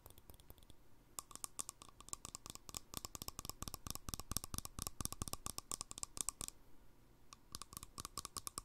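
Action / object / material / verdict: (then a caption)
tap / plastic screw lid on a small glass jar / plastic / none. A green plastic handled lid screwed onto a small empty glass jar is tapped with fingertips and nails on the lid top and handle. The result is a quick, irregular stream of short, dry clicks and taps with bright high edges and almost no ring. The sound pauses briefly near the start and again just before the end.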